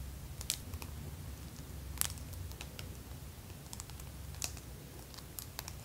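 Long pink acrylic press-on nails lined with plastic fake teeth on both hands tap and clack against each other. Sharp, bright, irregular clicks pop out over a steady low hum.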